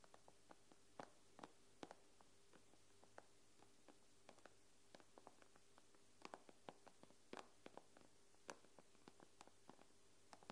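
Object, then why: Glass tablet screen. Long nails tap on the glass screen of an iPad with both hands, giving about two dozen quiet, sharp, bright clicks at an uneven pace. Each tap stops almost at once, over a faint, steady low hum.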